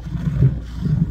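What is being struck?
Nothing is struck.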